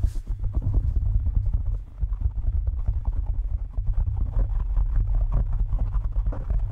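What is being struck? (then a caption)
Foam microphone windscreen. Fingertips and short nails of both hands scratch and tap rapidly all over a soft, porous black foam windscreen covering the capsule of a handheld-size microphone. The result is a dense, continuous low rumbling thump with quick scratchy crackles, brief dips, and no ringing.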